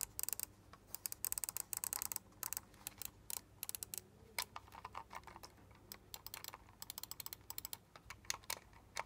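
Fingertips and nails tap and click rapidly on the buttons and sides of a small, hollow, black plastic LED gaming mouse. The result is fast bursts of sharp, bright plastic clicks and taps that die away almost instantly, separated by brief pauses over a faint low hum.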